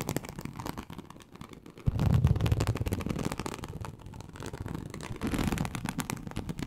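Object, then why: Embossed leather sheet. Very long acrylic nails scratch across a large, flat, teal snakeskin-embossed leather sheet (likely faux) lying on a surface. The result is a rapid, uneven, low-heavy rasping with dense short scrapes. It swells louder and deeper around the two-second mark, then eases and builds again near the end.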